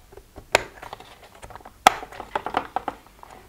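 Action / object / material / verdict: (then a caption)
tap / plastic pill box lids / plastic / none. Fingertips and nails of both hands tap and scratch the closed lids of a hollow plastic weekly pill organizer. Sharp clicks stand out above a bed of softer, irregular tapping and light scratching. The tone is bright, hollow and plastic, with almost no low end and no ring.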